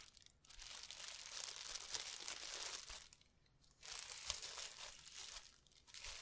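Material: Plastic.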